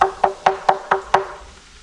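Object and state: Hollow tree trunk.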